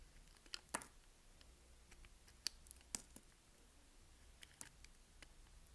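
A small solid white bar of soap, held between the fingers, is carved and scraped with a utility knife blade. Eight sharp, bright, crisp crunching scrapes stand out at irregular intervals over a quiet, steady background hiss, each one snapping off almost instantly with no ring.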